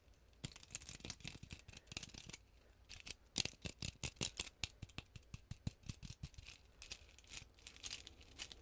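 Long glittery painted nails scratch and tap a hand-sized, solid-looking round ornament ball densely covered in small gold and orange plastic sequins or beads. The result is a fast, irregular run of bright, crisp clicks and short dry scratches that stop instantly, over a faint low background hum.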